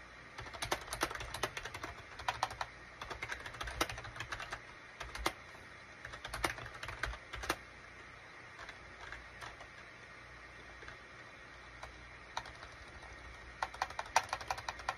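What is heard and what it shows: Fingertips of both hands type rapidly on a gray SHIPADOO K600 full-size wired USB keyboard with a gray plastic case and cream, gray and orange plastic keycaps. Quick, bright plastic clicks come in dense bursts, thin out to a few scattered taps in the middle, then pick up again at the end. Each tap is short and dry with almost no ring.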